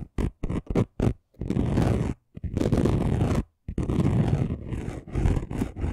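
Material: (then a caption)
Glitter. Short fingernails on both hands scratch fast across a flat, chunky gold glitter craft sheet. A few quick, separate scrapes open the clip, then give way to long, continuous bouts of coarse, gritty scratching with a deep rumbling body and a bright, hissy edge, broken by brief pauses.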